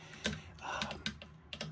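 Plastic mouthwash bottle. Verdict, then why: Not hollow. Fingernails tap on a plastic mouthwash bottle resting on a sink, making a series of short, dull clicks with a brief bright edge and little ring. The bottle is not hollow, so the taps sound soft and muted rather than resonant, though the tapping is still heard.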